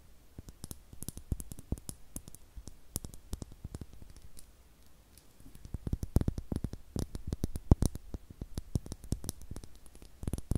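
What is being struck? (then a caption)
Small star-shaped glass bottle with cork stopper. Long nails tap a small, hollow, clear glass star-shaped bottle with a cork stopper, apparently empty, held over the microphone. Dozens of quick, dry clicks with almost no ring come in irregular bursts, with a soft low thump under each tap and faint bright ticks. The tapping is quieter in the middle and denser and louder toward the end.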